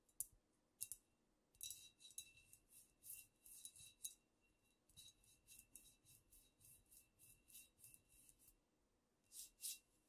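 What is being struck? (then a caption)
Glass bottle with paper label. Long nails scratch and rub a squat amber glass cognac bottle and its paper label, held close. Thirteen short, quiet, bright strokes rasp with thin high hiss and almost no low end, in uneven bursts separated by near-silent pauses.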